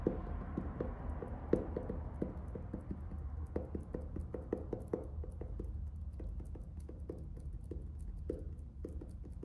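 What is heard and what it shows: Fingertips tap and scratch the front cover of a closed orange faux-leather hardcover notebook, still in plastic shrink wrap with a paper band, while it is held up. Many quick, dull taps with short crinkly scratches sit over a steady low rumble, each tap dying away almost at once.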